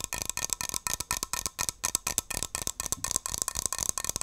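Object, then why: Metal aerosol shaving cream can. A hand-sized metal Barbasol aerosol shaving cream can with a plastic cap is tapped and scratched with long nails. The result is a fast, irregular run of sharp, dry clicks and scrapes. The sound is bright and high with little low end, and each hit dies away almost instantly.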